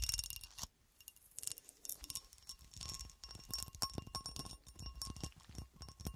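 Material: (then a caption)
Glass. A solid, hand-sized, clear cut glass horseshoe, held upright, is tapped and scratched with long acrylic nails. Quick, bright clicks and clinks ring briefly over scraping sounds, with thin high glassy tones and a steady tone near 1 kHz showing through. A short quiet gap comes near the start.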